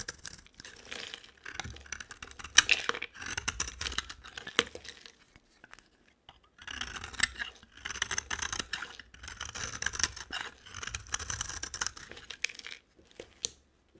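A hand with long dark nails holds a solid white rectangular bar of dry soap and shaves it with a utility-knife blade, with flakes piling up. The scraping gives bright, crisp, crackly rasps in quick bursts, with a brief pause midway. The shaving then resumes in the same texture until the end.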